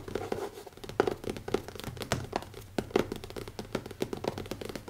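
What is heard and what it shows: Fingertips tap quickly on the black leather cover of a closed notebook with an elastic band, resting on a wooden table. A rapid, uneven series of soft, dull thunks with a faint crinkly, scratchy texture is heard. Each tap dies away almost instantly.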